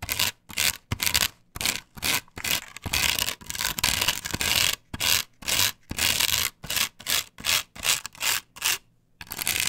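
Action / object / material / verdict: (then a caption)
scrape / plastic stencil glued on a wooden board / plastic / none. Long pointed nails and fingertips scratch and rub over a large, flat plastic stencil with a patterned cut-out, glued solidly onto a wooden board. The result is bright, hissy scraping in short, irregular strokes, with a longer continuous rubbing stretch near the middle and brief silent gaps between bursts, and almost no low end.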